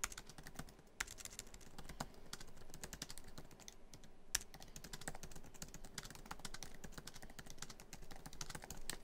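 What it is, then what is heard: Laptop keyboard with plastic keys. Fingertips of both hands type quickly on a MacBook Pro keyboard, tapping many black plastic keys set in a hollow silver aluminum laptop body. Dense, rapid, bright clicks overlap into a steady quiet clatter with very short decay. A few louder key strikes stand out over a low background rumble.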